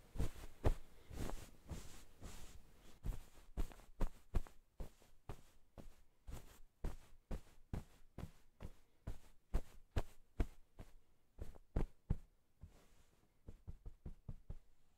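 White satin-gloved hands press, pat and rub a floral cotton-cased pillow resting on a table. Around 28 soft, muffled, low thumps arrive in an irregular rhythm, with faint fabric rustle and quiet pauses between them. Each pat dies away almost instantly, leaving the sound dull and quiet overall.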